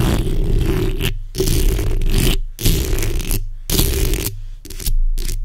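The backs of long acrylic nails on both hands scratch the hollow metal mesh grille of a black microphone. Heavy, low rumbling rasps with a faint bright scratchy hiss come in bursts separated by brief silent gaps. The last few bursts are shorter.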